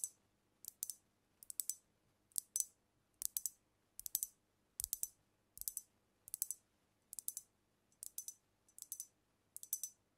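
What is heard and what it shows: Long nails rapidly tap a brown glass cognac bottle held tilted over the mic. Quiet, bright, high clicks come in quick bursts of two or three taps, spaced under a second apart. Each tap dies almost instantly with no low-end body.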